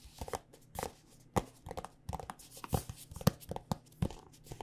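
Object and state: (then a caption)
Plastic lotion tube tapped with nails. Long nails tap on a white plastic body butter squeeze tube filled with lotion, making fourteen quiet, dull taps with short clicky edges in an irregular rhythm. Each tap stops almost at once, and the sound sits mostly low with little bright content.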